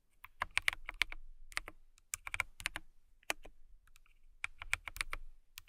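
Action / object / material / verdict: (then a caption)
tap / acrylic mechanical keyboard / acrylic / none. Long nails type on a transparent acrylic mechanical keyboard with clear keycaps, tapping out a quick, uneven run of sharp, bright clicks. The clicks come in short bursts with brief pauses, each one dry and snappy with almost no ring, centered around 2.2 kHz.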